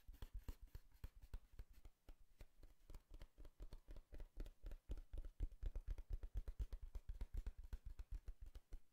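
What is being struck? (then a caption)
Cardboard box. Fingertips tap and scratch the surface of a tall, hollow brown cardboard box held upright. The result is a quiet, uneven run of short, dull, low thuds at roughly four per second, each dying away almost at once, with faint bright scratchy grain between them.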